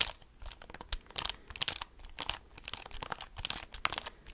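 Fingertips and nails tap and scratch the keys and hollow casing of a handheld black plastic graphing calculator. A rapid, uneven stream of dry, bright clicks and scratchy crackles plays, each stopping almost instantly with little low end.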